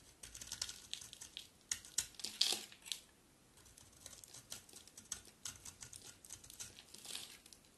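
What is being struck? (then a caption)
Bar of soap. A palm-sized solid green bar of dry soap, held in one hand, is carved by scraping thin curls off its edge with a utility knife blade, and the soap crumbles into flakes. Bright, crisp scraping and crinkling strokes come in quick succession, with almost no low end. The loudest strokes bunch up early, followed by a brief pause and then a run of lighter, steady scrapes.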